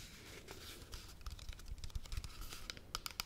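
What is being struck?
Plastic pump shampoo bottle.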